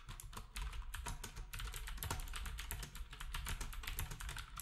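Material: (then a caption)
Plastic. Fingertips of both hands type steadily on a black, typewriter-style retro keyboard with round plastic keycaps. Rapid, overlapping plastic clicks and clacks run continuously, each a short bright tap over a soft low thump with almost no ring.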